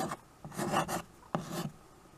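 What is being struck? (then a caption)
Chalk on a wood-framed chalkboard. White chalk scratches across a small, flat chalkboard in a wooden frame, held in a hand with teal nails, while names are written on it. Three separate raspy strokes are heard: a short one, a longer gritty one, then one with a sharp start. The scratching is dry and bright, with quiet pauses between strokes.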